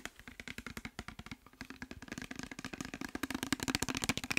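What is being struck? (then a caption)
Plastic bottle of liquid. A clear plastic micellar water bottle with labels, partly filled with liquid, is held in hand and tapped quickly with fingertips and nails. Around thirty short, dry clicks and taps follow in an uneven rhythm, each with a soft hollow low tone under a bright tick. The tapping grows louder and brighter in the second half.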